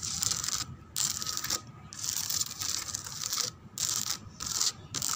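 Long acrylic nails scratch and tap across the raised rose relief and lattice pattern of a large molded white plastic chair back. Bright, hissy scratching comes in several sustained strokes separated by brief pauses, with faint tapping textures and almost no low end.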